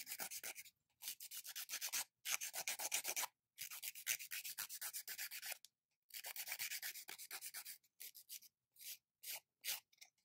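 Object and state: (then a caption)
Gel-coated fingernail being filed. A long, hard gel/polygel-coated fingernail is rubbed back and forth with an abrasive emery nail file held in the other hand, filing and grinding off the polish. Quick, bright, scratchy rasping strokes come in soft bursts of rapid back-and-forth rubbing, separated by short silent pauses.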